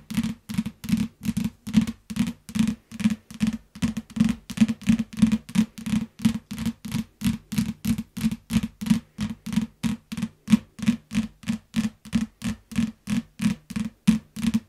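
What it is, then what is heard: Plastic-wrapped paperback book. Long fingernails tap and scratch the cover of a yellow paperback book wrapped in clear plastic, producing a steady run of quick, dry clicks. Each short tap has a low, hollow thump around 215 Hz with a faint crinkly rustle, and fades almost instantly.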